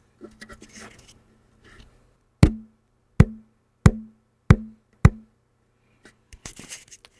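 A loudspeaker cone, its voice coil shorted by a jumper wire across the speaker terminals, is tapped five times, giving dull, low thumps that die away almost immediately. The shorted coil electrically damps the cone, so each tap stops quickly instead of ringing on. Faint handling rustles are heard before and after the taps.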